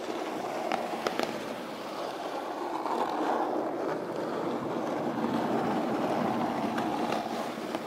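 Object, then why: Corrugated cardboard box. Long pointed pink nails on both hands tap and scratch the top lid of a closed, flat, medium-size brown corrugated cardboard shipping box that sounds hollow. A steady, papery scratching fills the clip, centered in the midrange, with a few sharp, bright taps standing out early and near the end.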